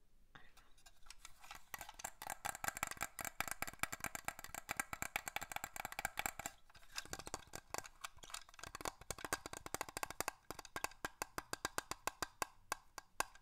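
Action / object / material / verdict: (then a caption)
tap / small glass perfume bottle with plastic cap / glass / none. A small glass perfume bottle with a black plastic cap is held close and tapped rapidly with fingernails. The result is a dense run of quick, bright clicks and clinks with very short ring, sharp upper tones around 1 kHz and above, and little low end.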